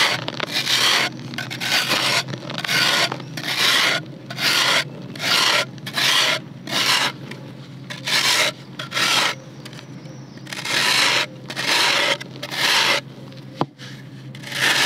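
A serrated metal knife scrapes across the surface of a large, flat, dry chunk of solid red clay dirt held over a blue basin of loose red dirt, shaving off dust. The scrapes come as repeated bright, raspy strokes at an uneven pace, with short quiet gaps between them and a faint low hum underneath. One sharp click sounds near the end.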